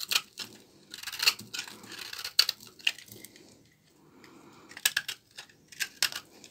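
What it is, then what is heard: Dry laundry soap bar. A small blade scrapes and cuts thin shavings off a solid bar of dry, old brown laundry soap held in the hand. It makes crisp, bright crunching and tearing strokes that come in irregular bursts, with a brief quiet pause partway through.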